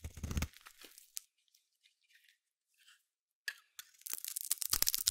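A palm-sized solid yellow bar of soap is held in one hand while a small metal blade shaves and carves curls off its surface. Crisp, bright scraping and crunchy tearing sounds come in bursts, separated by near-silent pauses, and build to a dense stretch of rapid shaving at the end.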